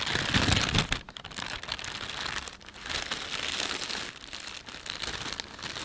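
Fingertips rub and crinkle the film of a thin, empty panda-print plastic shopping bag. A dense, bright crackling rustle runs throughout, loudest in the first second, then easing into quieter stretches broken by brief lulls before the crinkling swells again.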